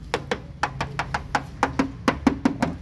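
A steel body panel of a 2016 Datsun GO+ T Option car is knocked by hand 13 times in a quick, uneven series. Each knock gives a short, clear metallic ring centered near 270 Hz that decays quickly. This indicates bare metal with no body filler beneath.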